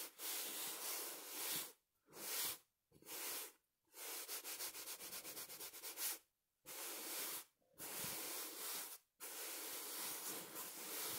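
A small, soft, stuffed throw pillow with a printed fabric cover is held in one hand and scratched and rubbed with the fingertips of the other. Bright, hissy scratching and rubbing comes in bursts separated by brief silences, with a stretch of quick, rhythmic strokes in the middle. There is almost no low end and little ring after each stroke.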